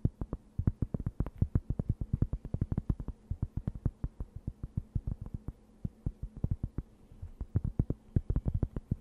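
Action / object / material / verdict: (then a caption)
tap / thin round cork board / cork / none. A thin, round, solid and flat cork board is held close to the microphone while long nails tap and scratch across its surface. Dozens of quick, dull, low-pitched taps come in an uneven, steady stream, each stopping almost instantly with no ring. Faint scratching runs underneath, and the taps grow softer for a stretch in the middle before picking up again.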